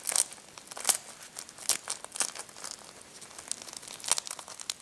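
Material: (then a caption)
Eggshell. Thumbs press and rub a hard-boiled egg with a finely cracked brown shell, crunching the shell fragments against the egg. Bright, dry crinkling and crackling runs throughout, with a few sharper, louder crunches standing out. There is almost no low end.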